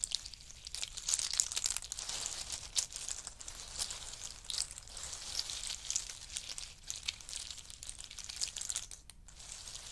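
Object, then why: In-shell pistachios. Fingertips rake through a pile of in-shell pistachios as handfuls are rubbed together and dropped back onto it. The shells make a steady, dense stream of bright, crisp clicks and rattles, with quick overlapping ticks and almost no low end.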